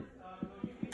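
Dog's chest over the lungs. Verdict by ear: Resonant.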